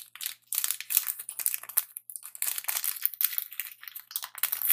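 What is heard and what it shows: A Twix candy bar in its metallic plastic wrapper is held up close while fingertips crinkle and squeeze the wrapper. The result is dense, bright, crackling crinkles in quick irregular bursts with no low end, broken by a few brief pauses.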